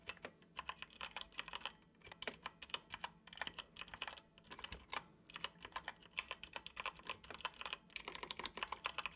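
Fingertips of both hands tap the hollow keys of a dark plastic computer keyboard in steady typing, with a few brief pauses. Each keystroke is a short, bright plastic click that dies away almost instantly, with very little low end beneath it.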